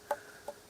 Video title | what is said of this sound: 애플수박 수확시기 '이것' 보고 100% 설탕 수박 수확할 시기 쉽게 알수있다 #애플수박 터널재배 | 소리가 투명하게 맑은 소리가 나죠